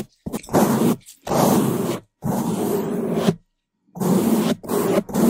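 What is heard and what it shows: A gloved hand rapidly brushes the top of a large, soft, porous black foam windscreen over a microphone with a bamboo toothbrush. Loud, fast bristle scratching and rubbing come in bursts with short silent gaps between them. The close contact gives the rubbing a deep, rumbling, grunt-like body.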